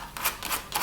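Fingernails tap on a large wooden kitchen door in an Egyptian kitchen. Three light, bright clicks sound with most energy up high, each fading within about a tenth of a second.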